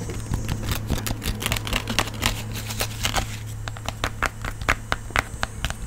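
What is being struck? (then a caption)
Fabric-covered portable speaker. A round, hand-sized blue fabric-covered portable speaker is held near the microphone and tapped and scratched with fingernails. Quick, dry clicks and scratchy rustles sound over a steady low hum, with bright crackly edges on the sharper taps.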